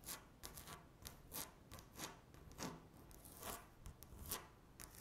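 Long natural nails scratch across a flat, solid speckled laminate tabletop. The result is a run of quick, dry, bright scrapes and taps, each with a short rasp that fades fast.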